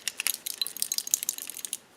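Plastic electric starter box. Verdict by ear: Loose.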